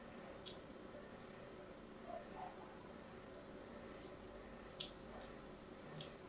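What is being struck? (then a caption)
Bar of soap scraped with a thin metal blade. A thin metal blade, held by fingers with long white nails, scratches and scores cut lines across the surface of a solid, palm-sized pink and white striped bar of soap held in one hand, over a backdrop of other soap bars. Quiet, sparse, bright scraping ticks and soft scratches rise briefly above a steady, faint background hiss.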